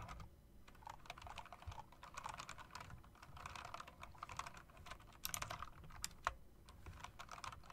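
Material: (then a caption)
Plastic. Fingertips with long dark nails type on a backlit mechanical typewriter-style keyboard with round plastic and metal-rimmed keycaps. The result is a steady stream of quick, crisp clicks with a bright edge and a faint low thud beneath, each keystroke dying away almost instantly.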